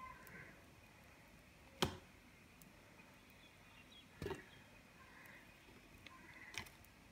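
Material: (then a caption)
Soap. A small, solid white soap bar held in one hand is carved with a small serrated metal knife, and thin curls and shavings peel off and fall onto a pile of white soap shavings. A few sharp, crisp scraping cuts with a bright edge stand out against a quiet, faintly hissing background, each dying away quickly.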